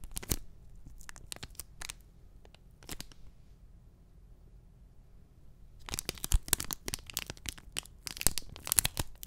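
A small, flat, printed cardboard backing card holding an enamel pin is held close to the mic and tapped and scratched with fingertips and short nails. Sparse, sharp, dry scratches and taps come first, then a quiet pause. A dense run of rapid, crackly, bright scratching follows over a low rumble.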